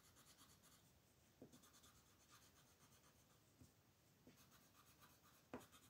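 A purple colored pencil rubs over a flat white paper mandala sheet in small coloring strokes while the other hand rests on the sheet. A quiet, steady, bright scratching hiss continues throughout, broken by a few slightly louder soft ticks as the pencil moves.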